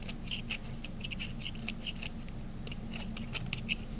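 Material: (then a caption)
Soap. A small metal blade carves thin slices from the edge of a solid, dry to semi-dry cream-colored soap bar. Quick, crisp scraping clicks with bright, high crackle repeat over a steady low hum. Each cut snaps off sharply with almost no ring.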